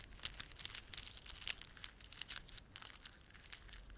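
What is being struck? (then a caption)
Plastic beaded ornament. A plastic beaded ornament is rubbed and squeezed by fingertips. The result is a quiet, dense run of bright, crinkly clicks and crackles with no ring after each one.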